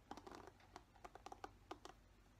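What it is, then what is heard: Plastic paddle hairbrush. A fingernail scratches the bristles of a black plastic paddle hairbrush, then fingertips tap its smooth, hollow plastic back. About 11 quiet, short, dry taps sound in quick succession, with a clicky tone around 790 Hz and little low end.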